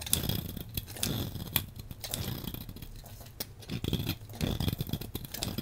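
A hand-sized solid blue bar of soap is cut and scraped with a metal blade, and crumbly shavings fall off. Dry, crisp scraping and crunching is broken by sharp, bright cuts over a low rumble.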